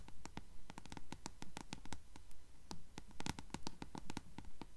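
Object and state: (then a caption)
Paperback book page edges tapped and scratched with nails. Long nails scratch and tap the yellowed page edges of a closed paperback book held sideways. Quick, dry paper clicks and short scratches repeat at a fairly steady, rapid pace over a low background hum. Each sound dies away almost at once.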